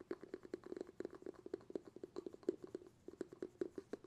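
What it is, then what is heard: Glass jar with bamboo lid. Fingertips rapidly tap the bamboo lid of a glass jar held in both hands. The result is a quick, uneven run of soft, hollow knocks, each with a mid-pitched tone around 360 Hz and almost no ring, with faint brighter clicks on top.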